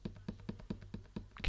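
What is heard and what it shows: A box is tapped lightly near a microphone as a mock ASMR demonstration, its material unstated. Eight soft, dull, short taps fall at a steady pace with almost no ring, over a constant low hum. The taps end in a slightly brighter rustle.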